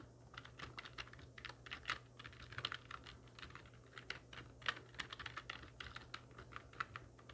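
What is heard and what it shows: Long natural nails and fingertips of both hands type rapidly on a full-size black plastic computer keyboard with hollow keys resting on a wooden desk. The result is a quick, uneven stream of short, bright plastic clicks and clacks, some louder than others, over a faint steady low hum.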